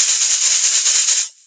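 A plastic bottle filled with a whole bag of rice and tightly closed as a homemade shaker is shaken, giving a continuous bright, hissy rattle of grains for about 1.3 seconds before it cuts off. It does make noise, showing the rice is inside and free to move.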